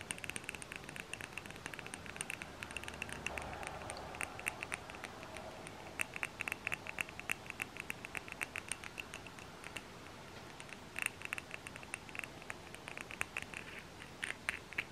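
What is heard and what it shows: Long nails tap rapidly on the glass sides and screw-thread rim of a lit glass jar candle, filled with wax, wrapped in a paper label, and about 8 cm wide. The clicks are quick, light, and bright, centered around 2.7 kHz, with no ring, over a soft steady hiss. The taps thin out briefly around the fourth second, then return in dense, uneven bursts.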